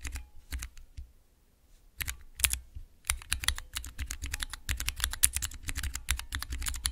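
Long nails tap and press three tall, translucent plastic keycaps on a clear plastic mechanical keypad with Cherry MX switches. A few sharp clicks come first, then a near-silent pause, then a rapid, dense run of bright, clacky keystrokes with a low thump under each press.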